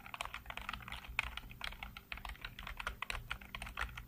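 Fingertips type rapidly on a black plastic backlit computer keyboard, producing a fast, uneven stream of short, bright clicks and clacks over a steady low hum.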